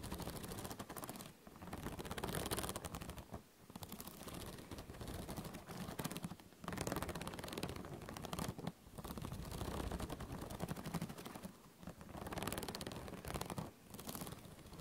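Long nails and fingertips scratch and pluck the metal coil binding along the top edge of a spiral-bound notebook held close to the microphone. The sound is a dense, raspy run of rapid ticking clicks with a full low body, coming in strokes of a couple of seconds separated by brief quiet gaps.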